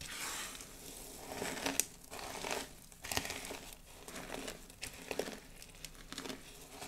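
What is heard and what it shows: Long blue almond-shaped nails and fingertips press into a large heap of small, thin, brittle pink and white dried soap shards on a dark table, raking through the pile and crushing the flakes. The result is a steady run of dry, bright crinkling and crunching in uneven bursts, with a few sharp, brief snaps and very little low end.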